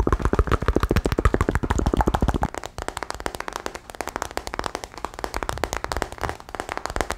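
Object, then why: Smartphone with glass and metal body. A solid smartphone with a glass and metal body, held sideways in both hands, is tapped rapidly on its back and edges with fingertips and nails. A fast, uneven stream of short, dry taps and clicks is heard. It is fuller and louder for the first two and a half seconds, then continues as lighter, quieter clicks.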